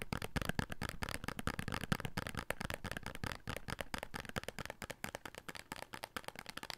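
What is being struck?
Small paper soap carton.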